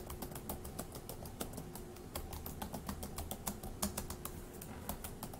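Fingertips of one hand tap quickly on the plastic keys of a dark grey laptop keyboard. A rapid, steady stream of soft, bright clicks sits over a low, dull thud from each key.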